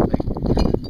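A piece of lava rock with a big hole in it, light rather than heavy, is tapped several times while hiking on Mauna Kea. Each tap makes a quick, dull, low knock that dies away fast with no bright ring. The rock sounds hollow.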